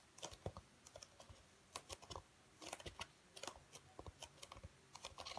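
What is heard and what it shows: Fingers quickly tap and scratch a flat, dark grey foam packing insert with slots, held in both hands. The result is clusters of short, dry, bright clicks and scuffs with a faint low thump beneath, each dying away almost at once between brief quiet gaps.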